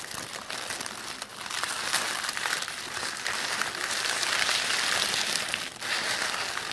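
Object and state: Crumpled tissue paper.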